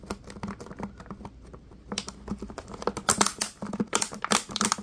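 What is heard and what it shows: Latex-gloved fingers crinkle and tap a clear, ridged, hollow plastic water bottle with small yellow bits inside. Rapid dry clicks and light taps start soft and sparse, then from about two seconds the crinkling grows louder and brighter into sharp, crackly bursts. A faint low tone hums steadily underneath.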